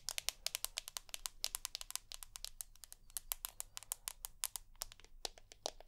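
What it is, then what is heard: Glass-backed smartphone. Long nails tap and scratch the glass back of a rose gold iPhone with an aluminium edge. Rapid, sharp, bright clicks with no ring fall in an irregular run, mixed with soft scraping over a faint low hum.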